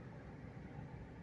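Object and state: Nothing is struck.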